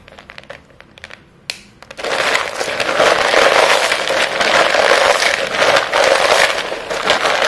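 Chalk-dusted hands with short painted nails dig into a heap of short solid white chalk stick pieces in a clear bowl, squeezing and crushing them. Quiet scattered clicks and one sharp crack come first. After about two seconds, a loud, dense, bright crunching and crumbling continues to the end.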